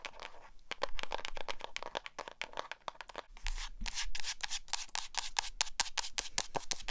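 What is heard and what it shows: Long acrylic nails rub and scratch the matte cover of a small black hardcover spiral notebook held up in the air. The result is a rapid run of dry, bright scratching strokes and taps, each cut off short with no ring. The strokes grow louder and denser in the second half.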